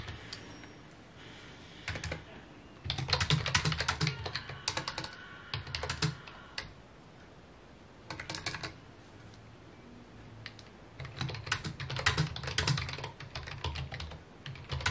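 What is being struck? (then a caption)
Plastic computer keyboard. Fingertips type on a full-size white plastic computer keyboard with mint keycaps resting on a wooden desk. Quick, irregular bursts of key taps come in runs with short pauses between, busiest in the last few seconds. Each tap is a short click with a bright top and a soft low thump, dying away almost at once.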